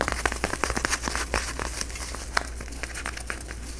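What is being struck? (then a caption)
Plastic tinsel pumpkin decoration. A flat, face-sized orange plastic tinsel jack-o-lantern decoration is held close to the microphone while fingertips and nails rub and crinkle its tinsel strands. The result is a dense run of quick, dry crackles and crinkles over a steady low hum, busier and louder in the first half and softer toward the end.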